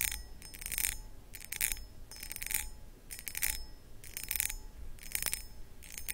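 Long acrylic nails scratch across the cut pattern of a hollow, empty, medium cut crystal glass pedestal bowl. Repeated bursts of bright, rasping scratches come with faint glassy pings over a low steady background hum.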